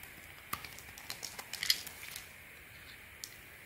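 A hand-sized solid orange bar soap, held in one hand, is shaved with a small metal blade in steady carving strokes that take off thin curls. The strokes give quiet, dry, bright scraping ticks and crisp little crackles over a faint hiss, clustered in the middle of the clip with one last scrape near the end.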